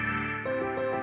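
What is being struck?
Nothing is struck.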